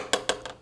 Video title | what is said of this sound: Have You Heard About The Windsor Pinnacle? | You hear me knocking on it. This is aluminum.